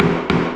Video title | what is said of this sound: That's how it got dobbed back in the day but nothing was done properly 😝😝 | that's a cement sheet wall, but that's what it would sound like